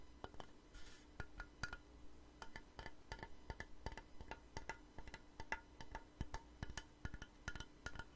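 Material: Wood.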